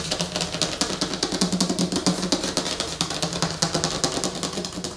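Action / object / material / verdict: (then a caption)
scrape / glossy laminated paper poster on a wooden table / glossy paper / none. Long fingernails on both hands scratch and tap the surface of a large, flat, glossy laminated paper movie poster lying on a wooden table. A fast, uneven stream of crisp, bright scratches and short taps stays steady over a faint low tonal hum, with each sound dying away almost at once.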